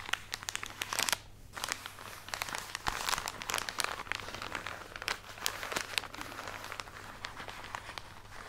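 Long nails scratch and tap on a full plastic package of cotton pads held close, making dense, bright crinkling with quick sharp clicks. The crackly taps come in rapid, uneven bursts over a faint steady low hum.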